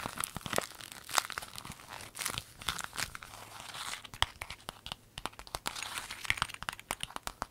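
A clear lemon-print vinyl zip pencil bag is crinkled, folded and squeezed in hands with long nails. A dense stream of sharp, bright crackles and crinkles with short tearing-like bursts fills the clip, with little low end and no ringing.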